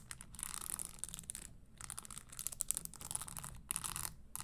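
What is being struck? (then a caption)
Leather stiletto pump with metal spikes. Long nails tap and scratch the insole and spikes of an empty red spiked leather Christian Louboutin stiletto pump held upright on a table. Quiet, bright, crisp clicks and scratchy rasps come in quick bursts separated by brief pauses.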